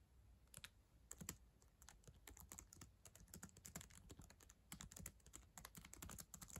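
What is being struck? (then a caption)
Plastic laptop keyboard keys tapped with acrylic nails. Long acrylic nails and fingertips type on the plastic keys of a black ThinkPad laptop keyboard, a solid device. The result is a quiet, steady stream of short, sharp clicks and taps, each with a bright tick on top and a soft low thump underneath, dying away almost instantly.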